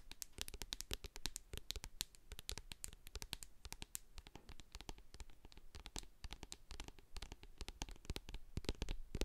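Long acrylic nails tap and scratch the sides and label of a medium hand-held plastic jar of hair co-wash with a silver metal lid, full of white cream. Quick, dense, crisp clicks and scratchy rasps follow one another with no ring, over a soft low thump from the jar's body.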